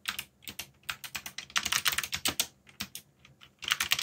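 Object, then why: Plastic mechanical keyboard. Fingertips type quickly on a backlit mechanical keyboard with plastic keycaps, pressing the keys in rapid bursts separated by brief pauses. Each keystroke is a sharp, bright plastic click that stops almost instantly, with very little low-end thump.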